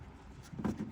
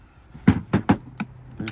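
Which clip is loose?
The second.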